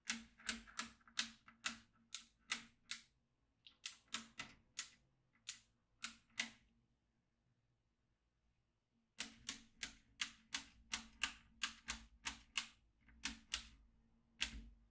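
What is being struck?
Plastic magnetic drawing tablet with steel beads.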